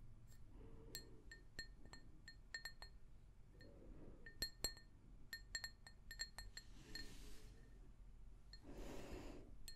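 An empty, hollow pink glazed ceramic mug is tapped with long nails close to the microphone, giving a string of sharp, bright clicks with a brief high ring. Between the taps, soft swishing bursts and a low background rumble can be heard.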